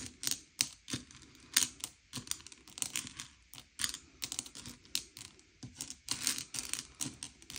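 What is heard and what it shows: Fingertips slide and push a pile of small, hard, sugar-shelled M&M's candy-coated chocolates around a grey plate, sorting them by colour. The candies make quick, bright clicks and rattles as they knock against each other and the plate, with sharper taps between softer shuffling.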